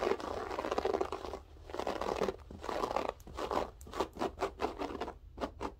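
Long nails scratch across a grey loop-pile berber carpet floor with spread fingers, making dry, crunchy rasps. Longer sustained strokes in the first half give way to quicker, separate scratches toward the end. The sound centers in the mids and spreads up into bright high hiss.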